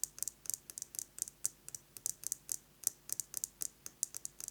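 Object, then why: Metal lipstick case. A metal lipstick case is tapped quickly with fingernails, giving 23 sharp, bright clicks over about four and a half seconds. Each tap is very short, quiet and dry, with almost no ring or low end, and they come in quick, uneven bursts.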